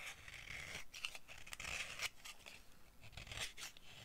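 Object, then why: Bar of soap scraped with a knife blade. A solid, dry orange bar of soap with embossed text, held in the palm, is scraped with the blade of a yellow-handled utility knife. Dry, bright scraping and shaving strokes rasp in quick succession, with sharp high crackles as the blade bites into the bar.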